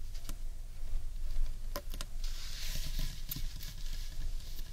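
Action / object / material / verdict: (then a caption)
tap / large carved wooden bowl / wood / none. Fingertips and long nails tap and scratch the underside of a large, hollow, carved wooden bowl. Soft, low, hollow taps mix with brief bright clicks, and a stretch of dry, hissy scratching runs through the middle of the clip.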